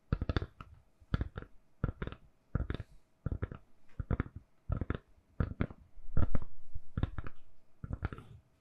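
A lilac, hand-sized, hollow silicone/plastic phone case is held in both hands and tapped and scratched with long manicured nails. Quick, dry, clicky taps come in short bursts with brief pauses between them, each tap carrying a soft, low, hollow thump. Near the end, a steadier scratchy rustle runs under the tapping.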